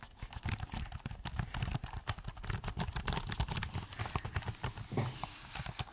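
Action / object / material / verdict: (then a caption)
tap / laptop keyboard with plastic keys / plastic / none. Fingertips type and tap on the plastic keys of a silver laptop keyboard while the laptop is held tilted. The result is a steady stream of rapid, short clicks, each with a dull low thud around 100 Hz and a bright, crisp tick that fades almost instantly.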